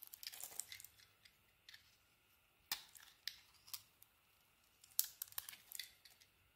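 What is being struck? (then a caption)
Painted soap bar scraped by a metal blade. A metal blade shaves and scrapes the glossy pink, gold and teal painted coating off a palm-sized solid white soap bar held in one hand, with the chips falling onto a table. Quiet, bright, crisp scraping and crackling bursts come in irregular clusters with short sharp clicks between them, separated by near silence. The sound is thin and high with almost no low end.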